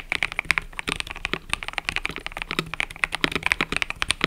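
Fingertips type continuously on a mechanical keyboard with cream and purple plastic keycaps. A fast, uneven run of sharp, bright clacks rises and falls, each one dying away almost instantly with little low end.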